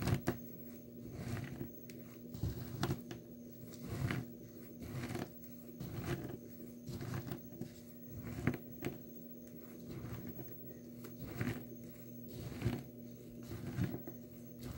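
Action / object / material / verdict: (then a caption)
scrape / dry soap shavings in a small plastic tub / soap / none. Powdery, crushed dry blue soap shavings in a small clear plastic tub are pressed and ground with the glass base of a nail polish bottle. The result is soft, muffled crunching and scraping that comes in irregular, repeated presses, mostly low in tone, with a faint steady hum underneath.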